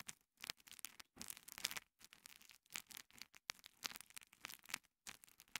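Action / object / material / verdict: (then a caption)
scrape / foam kitchen sponge / foam / none. A small two-layer green and yellow foam kitchen sponge, held in fingers with long nails, is squeezed and rubbed against a microphone capsule. It makes quiet, bright, crackly scratching and scraping bursts with almost no low end, broken by brief silent gaps.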